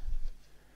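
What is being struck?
Nothing is struck.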